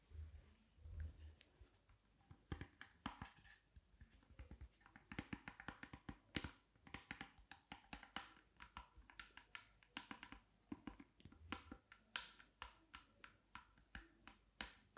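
An open black Ray-Ban hard shell sunglasses case, hand-sized and hollow with a faux-leather covered shell, beige lining and a cloth inside, is held open in one hand and tapped with long acrylic nails on the lid and rim. Quick, dry clicks and taps come in irregular bursts over a low hollow thump, each dying away almost at once.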